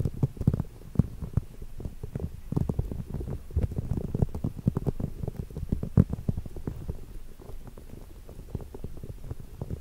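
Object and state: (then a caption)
Rubber spiky massage ball. Fingertips press, squeeze and rub the spikes of a small green soft rubber massage ball, likely hollow, held close in front of the microphone. The result is a dense run of short, soft, muffled thumps and crackly squeaks, almost entirely low and boomy, with quick pops that die away instantly.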